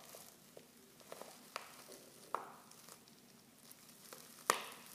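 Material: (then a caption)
Foil. Fingers and long nails crinkle a silver foil Pickwick tea pouch, half full of loose tea leaves and open at the top. Soft, quiet rustling is broken by six sharper, bright crackles, with the loudest snap near the end.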